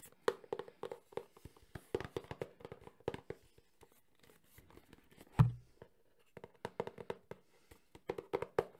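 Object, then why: Small printed cardboard box. A small, hollow, printed cardboard box for a Sony HDR-CX405 camcorder is held in one hand and tapped fast with the fingertips and nails of the other. Quick bursts of dry, hollow, low taps come in clusters with short pauses between them. One louder, deeper thump stands out near the middle.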